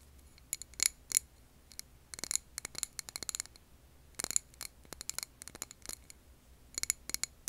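A clear glass jar candle with a paper label, full of wax, is tapped with long nails. Quick bursts of sharp, bright clicks come in uneven clusters, with pauses and a faint low hum underneath. Each tap dies almost instantly, with no ringing.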